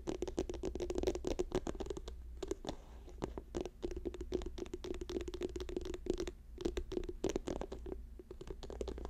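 Fingertips and nails tap rapidly on a hand-sized, apparently filled orange and white soft plastic lotion tube lying on a fur rug. The quick, dense taps sound dull and hollow over a steady low hum, with short clicky edges and brief pauses between bursts. By the end the hands mostly cover the tube.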